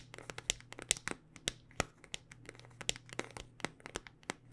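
A handheld smartphone in a solid black rugged hard-plastic case is tapped with long dark-painted nails. About twenty quick, bright, crisp clicks and taps come in an uneven rhythm, each dying almost instantly, over a faint low hum.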